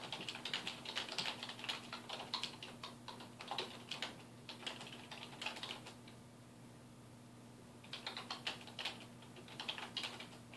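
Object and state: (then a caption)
Plastic computer keyboard being typed on. Fingertips type on the keys of a dark plastic desktop keyboard resting on a wooden desk, producing quick, irregular bursts of bright, crisp clicks over a faint steady low hum. The typing pauses for about two seconds near the middle, then resumes in another flurry of keystrokes.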